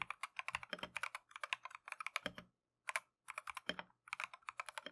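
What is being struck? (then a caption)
Plastic mechanical keyboard. Gloved fingertips type continuously on a Keychron V1 plastic mechanical keyboard with Tangerine switches and green and cream PBT Matcha keycaps. About thirty crisp, bright keystrokes come in quick bursts, with very short decay, little low end and two brief pauses near the middle.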